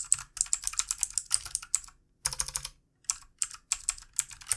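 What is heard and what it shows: Fingertips of both hands type on a full-size backlit plastic mechanical keyboard with plastic keycaps. Bursts of quick, bright, clicky keystrokes rattle in runs, broken by short pauses. Each press is crisp and dry and stops at once.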